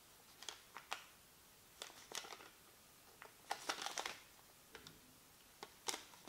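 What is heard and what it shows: A small, thin white paper receipt held in both hands over a black desk is crinkled, folded and rubbed with the fingertips. Quiet, bright, crisp crackles come in short scattered bursts with almost no low end. Each crackle dies away almost at once.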